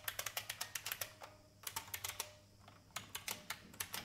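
Fingertips with red-painted nails type rapidly on a vintage full-size beige plastic IBM mechanical keyboard with hollow keycaps, resting on a wooden desk. Sharp, bright clacks come in quick bursts broken by two short pauses, each click dying away almost instantly with little low end.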